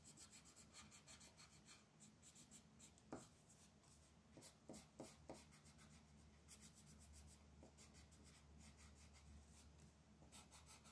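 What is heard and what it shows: A blue wooden colored pencil is scratched and rubbed across a flat white paper mandala coloring sheet on a table. Quiet, rapid, irregular scratchy strokes give a bright papery hiss over a faint steady low hum. A few sharper ticks stand out in the middle of the clip.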